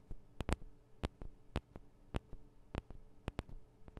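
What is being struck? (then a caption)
Small metal microphone capsules of a handheld recorder. Long nails tap on the sides of the small metal microphone capsules of a Tascam DR-40 recorder. There are eleven sharp, quiet clicks that die away almost instantly, heavy in low thumps with a few bright ticks, over a faint steady low hum.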